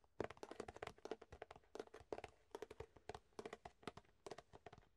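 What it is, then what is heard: Empty thin plastic food container. Fingertips tap an empty, hollow clear plastic food container held up in the air and flex its thin walls. The result is quick, soft, dry taps and crinkly clicks with a hollow tone that die away almost instantly. They come in rapid bursts with brief pauses between them.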